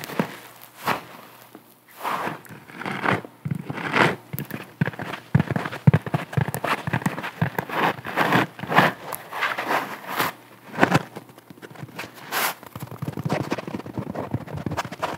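A round, porous yellow synthetic bath sponge with a cord loop is held in both hands, squeezed and scratched with long nails. The result is a dense run of soft crackling, scraping and squishy rustles, with short bright bursts of scratching rising above a low, muffled body.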